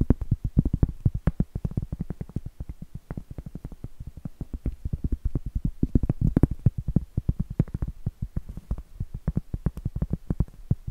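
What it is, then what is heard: Cork trivet. Long acrylic nails tap and scratch the face of a round, flat, solid cork trivet held upright. The result is a fast, irregular run of soft, dull, low-pitched taps that stop almost at once, with faint scratching between them.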